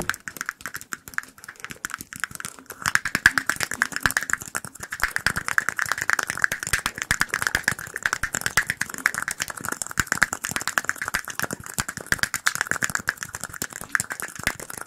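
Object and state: Small glass cup.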